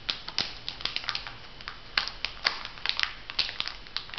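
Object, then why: Filled foil sheet-mask packet. A flat, printed foil sheet-mask packet, still filled, is bent and crinkled by hands, producing a quick series of sharp, bright crackles and snaps. The crackles are short and high-pitched with almost no low end, over a faint, steady hiss between them.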